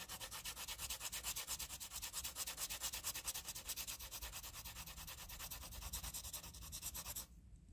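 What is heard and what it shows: A green wooden pencil scribbles graphite back and forth across a flat sheet of graph paper, making a continuous, bright, hissy scratch pulsing with rapid, fairly even strokes. The scratching stops abruptly near the end, leaving only faint low background noise.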